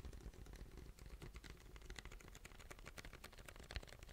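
A large white paper drink cup with a yellow logo, plastic lid and straw, hollow, is gripped in both hands and tapped and scratched with fingertips. Quick, dry clicking taps and scratches run continuously over a low rumbling base, with a slightly louder tap near the end.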